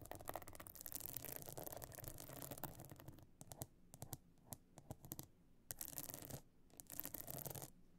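Long nails on both hands scratch the stone-chip encrusted top of a closed pebble-encrusted metal-frame clutch bag lying flat. The first three seconds are a dense, quiet, gritty scratching. It then breaks into sparse, sharp bright scrapes before picking up into busy bursts again near the end.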